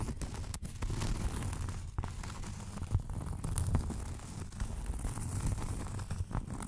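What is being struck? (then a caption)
Thin round cork coaster. Long nails scratch the surface of a round, thin, solid cork coaster held in the hands. A steady, dry, rough scratching with low rumbling weight runs throughout, punctuated by quick, sharp clicks and brief louder strokes.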